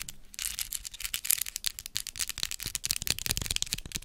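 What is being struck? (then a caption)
Plastic skeleton spider decoration. Long acrylic nails tap and scratch a large hollow white plastic skeleton spider prop held close to the mic. The result is a quick, dense run of bright, dry plastic clicks and scratchy rustles that die away almost instantly.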